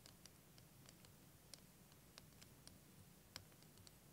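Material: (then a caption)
Plastic. Fingernails tap along the curved surface of a clear plastic wavy liquid timer filled with green liquid, held in both hands. Quiet, brief, bright clicks land irregularly, a few sharper than the rest, over a faint steady low hum.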